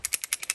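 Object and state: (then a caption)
Loose sizing die rattling in its adapter. A steel bullet sizing die sitting loose in a Lee bushing with the bottle adapter screwed on top is shaken, giving six quick, bright metallic rattles. The die is not yet tightened, so the adapter still needs to be screwed down until it stops rattling.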